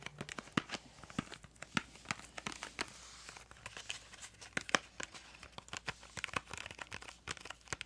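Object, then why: Small cardboard crayon box. A small printed yellow-green cardboard crayon box is tapped and scratched on its sides with long acrylic nails. Quick, dry clicks and papery scraping come in an irregular stream, with brief bright ticks and faint crinkling in a quiet setting.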